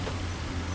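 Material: Nothing is struck.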